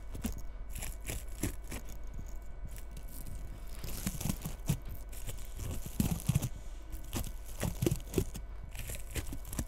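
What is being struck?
Bristle bottle-brush Christmas tree.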